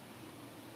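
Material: Nothing is struck.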